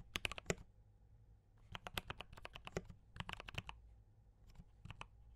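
Fingertips type on a compact D84 mechanical keyboard with brown switches and cream and red plastic keycaps. Quick bursts of short, bright, dry key clacks come in three rapid runs separated by brief pauses, over a faint low hum.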